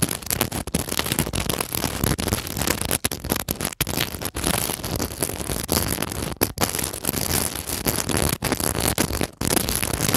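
The metal grille of a mini microphone is scratched and rubbed over a glass beaded decorative pillow covered in pearl seed beads and clear glass bugle beads. The result is a dense, continuous crackling and rasping texture, broad from low rumble to bright highs, broken by a few brief gaps where the grille lifts off the beads.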